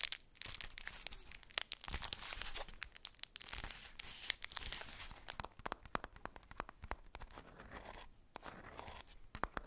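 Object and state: Tissue-paper-wrapped ball.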